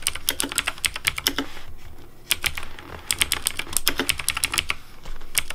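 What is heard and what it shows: Fingertips type quickly on a pink Razer DeathAdder V3 plastic mechanical keyboard with hollow plastic keycaps. The result is a fast stream of sharp, bright, clacky keystrokes over a low, hollow thock, each clack dying away almost at once, with brief pauses between bursts.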